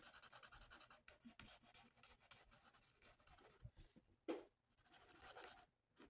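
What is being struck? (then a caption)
Felt-tip marker on a thin paper sheet. A red felt-tip marker colors in a thin, flat paper coloring sheet of a mandala, making quick, soft, scratchy rubbing strokes with a bright, papery hiss. The strokes run almost continuously, with one sharper, louder scrape just past four seconds and a brief quiet gap near the end before the coloring resumes.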